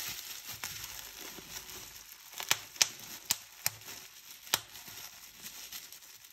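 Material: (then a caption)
Plastic. Clear plastic bubble wrap is bunched and squeezed in hands, giving a steady bright crinkling and rustling. Five sharp, snappy pops stand out as bubbles burst, with no ring after each one.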